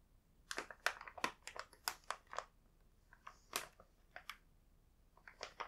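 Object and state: Plastic snack bag.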